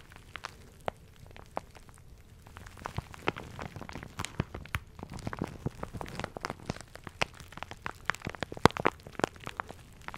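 A crinkly plastic shower cap with a red polka-dot print is squeezed, rubbed and crumpled between the fingers close to the mic. Sharp, dry crackles start sparse, then thicken into a dense run of short pops and rustles. Each snap dies away almost instantly.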